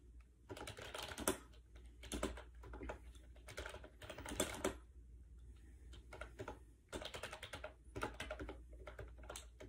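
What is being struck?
Plastic wireless keyboard with round keys.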